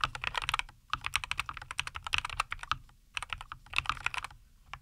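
Both hands type continuously with their fingertips on a compact 75% NuPhy Air75 V2 mechanical keyboard with linear Cowberry switches, a white case and green-and-white plastic keycaps, resting on a wooden desk. Crisp, bright plastic clacks come in rapid bursts with short pauses, each keystroke dying away almost instantly under a faint low rumble.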